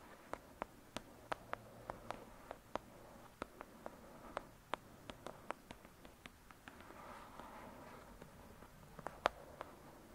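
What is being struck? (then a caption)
Paperback paper book. Long pointed acrylic nails of both hands tap and scratch the cover of a thick, solid *Lady Midnight* paperback book lying flat. About 27 quiet, sharp clicking taps die away almost instantly, over a soft scratching rustle that swells briefly in the middle.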